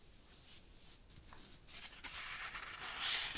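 Fingertips fold a thin, light-green rectangular sheet of origami paper in half on a black cloth-covered table and rub along the crease. Soft, bright paper rustling and crinkling build gradually, growing louder and scratchier toward the end as the crease is pressed.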